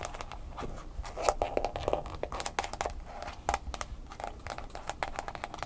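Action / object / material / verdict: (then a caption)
tap / smartphone in a plastic case / plastic / none. A smartphone in a mint green plastic case stands upright on a table while long fingernails quickly tap and scratch the sides of the case. Rapid, sharp plastic clicks mix with dry, crinkly scratching. Each tap dies away almost instantly, with a faint pitched ring around 600 Hz.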